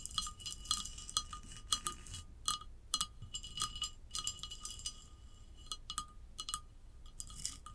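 Long acrylic nails tap and scratch a large hollow ceramic vase lying on its side, moving over its glossy glazed upper half and its sandy, textured unglazed band. The sound is a steady run of quick, bright clicking taps with a short, high ring and a faint ceramic tone, with soft scratchy rasps between the taps over a quiet low background.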